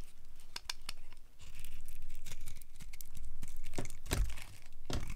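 A solid, pale yellow rectangular bar of old, dry soap is held in the hand and carved with a utility knife blade, cutting off crunchy flakes. Crisp, brittle cracks and scraping crunches come in an uneven run over a steady low rumble, with a sharper snap near the end.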